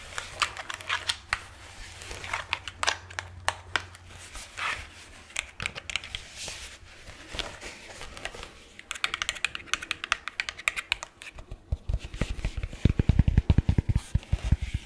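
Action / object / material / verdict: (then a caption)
tap / small plastic skull decoration / plastic / none. Long claw nails tap and click rapidly on a small hollow plastic skull decoration held in the hand, making crisp, bright, dry ticks with almost no ring. Near the end the taps turn heavier, adding deep hollow thumps under the clicking.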